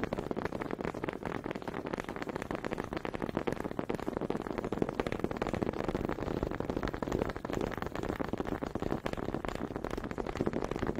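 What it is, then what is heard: Wooden honey dippers clacked together. A small solid wooden honey dipper is tapped and clacked against another close up, held by fingers with long pink nails. A dense, steady stream of quick, dry wooden clicks and knocks continues throughout, with a warm low-mid body, little brightness and no ring after each hit.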